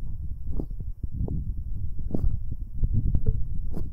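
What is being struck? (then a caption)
Metal microphone capsules rubbed by rubber-covered fingertips. Fingers in rubber finger cots rub and squeeze both metal binaural microphone capsules. This produces a continuous stream of deep, muffled rumbling and soft thumping with dense, crackly friction, almost entirely in the low end. The result is a close, booming texture with brief brighter scrapes.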